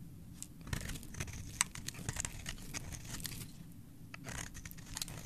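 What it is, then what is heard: Bar soap being carved. A solid, bright green oval bar of soap with an embossed logo is held in the hand and carved and scraped with a metal blade, so shavings fall off. Crisp, bright scraping and crunching strokes come at an uneven pace over a low, steady rumble.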